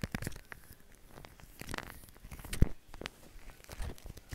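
Fingers push and drag through a large mound of white shaving cream foam on a plastic sheet, squishing it. Soft, wet crackling and tearing-like crinkles come in quick, irregular bursts over a low, quiet rumble, with the loudest squish about halfway through.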